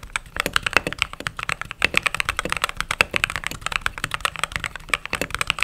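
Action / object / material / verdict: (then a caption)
tap / mechanical keyboard with plastic keycaps / plastic / none. Fingertips type steadily on a mechanical keyboard with white and cream plastic keycaps. The clip is a fast, uneven stream of short, crisp clacks with a bright, high edge and very little low end. Each keystroke dies away almost instantly.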